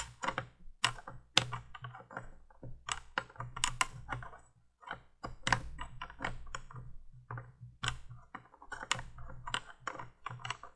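Long painted nails tap a small, hollow, orange glass flame-shaped bulb on top of a vintage 1980s plastic candle window light. The result is a quick, irregular run of bright, clicky taps that die away almost instantly, with a faint low hum underneath.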